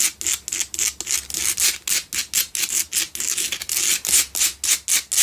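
Long nails on both hands scratch a lit pink Himalayan salt double candle holder carved from a solid salt block. About 23 quick, dry scraping strokes follow in a fast, somewhat uneven rhythm. Each is a bright, hissy rasp that stops short, with almost no low end.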